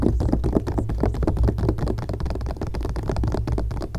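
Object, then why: Glossy coated-paper magazine page. Long painted nails on both hands scratch and tap quickly across the coated page of an open glossy magazine lying flat on a grey blanket. The result is a dense, steady stream of short, dry papery scratches and soft taps with almost no ring, heavy in the low end.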